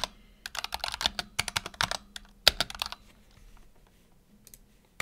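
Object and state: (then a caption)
Mechanical keyboard with plastic keycaps. Fingertips type on a black tenkeyless Razer Huntsman Tournament Edition keyboard with PBT plastic keycaps and optical switches, resting on a desk mat. A quick run of bright, sharp clacks with almost no ring fills the first three seconds over a faint low hum. It trails off into a few soft taps and ends with one last crisp keystroke.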